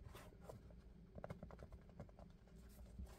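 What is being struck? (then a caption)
Sneaker with textile upper and rubber sole. Fingertips and nails quickly tap and scratch the textile upper near the laces of a hollow, empty dark grey-black sneaker with a rubber sole, held in both hands. The result is a quiet run of soft, dull, low taps mixed with faint scratchy rustling.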